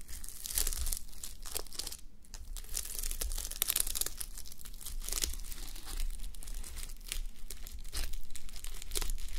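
Fingernails brush and flip the plastic reversible sequins on a fabric sleep mask resting on a white mannequin head. The result is a dense run of bright, crinkly ticks and scratchy swishes that rise and fall in bursts over a steady low hum.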